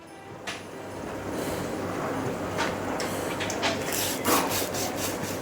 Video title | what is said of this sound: Cooking w' Corey Christmas Special -2024- Episode 4 | how crispy that skin is of the turkey as well